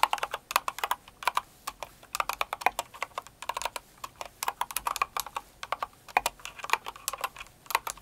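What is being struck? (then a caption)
Mechanical keyboard with plastic keycaps. Both hands type with long acrylic nails on a Cinnamoroll-themed mechanical keyboard with plastic keycaps. The result is a steady run of quick, light clicks and clacks in uneven bursts, each sharp tap fading almost instantly with no low-end thump.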